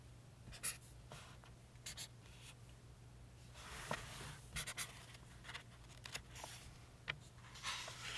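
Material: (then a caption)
Paper. A pink chisel-tip highlighter marks words and draws boxes on an open softcover paperback book with thin printed paper pages, resting on a table. It makes quiet, bright scratching and rubbing strokes in short bursts against a steady low hum.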